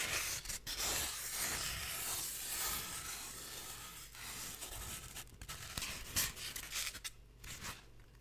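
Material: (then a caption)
Styrofoam. A hand-sized, solid, lightweight piece of white expanded polystyrene (styrofoam) is held in one hand and rubbed and scratched with fingertips and nails. The result is a steady, bright, hissy scratching with uneven squeaky strokes and short dry rasps, quiet and mostly high-pitched with little low end.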